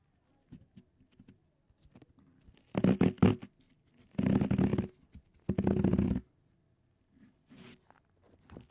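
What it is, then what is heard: Cohesive grip tape wrapped on a metal microphone grille. Two hands cup, rub and scratch blue cohesive flex grip tape wrapped around the hollow metal mesh head of a Blue Yeti microphone, using short fingertips. Soft, scattered scratches build into three louder, longer bursts of dense, rough rubbing with a low, muffled body, then fade back to light scratches.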